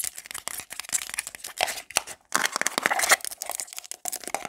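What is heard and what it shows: Long black glitter nails tap and scratch fast and hard over a small round black plastic got2b hair paste jar, across its lid and ridged sides. Dense, dry, bright clicks and rasping scrapes come in rapid bursts with no low end and almost no ring, broken by a brief pause midway.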